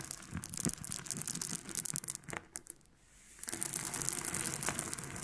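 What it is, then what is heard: Pearls clicking together. Freshly extracted pearls are handled and clicked together, making a rapid, irregular stream of bright, sharp clinks and rattles. A brief quiet pause falls near the middle before the clicking resumes just as densely.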